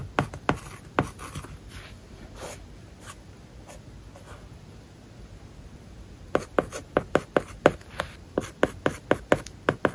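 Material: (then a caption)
Plastic film. A plastic stylus tip writes on an iPad covered with a matte, paper-like plastic film, making scratching strokes and sharp, dry taps. A few taps open the clip, then softer strokes fill a quieter middle stretch before a quick, steady run of crisp taps over the last few seconds.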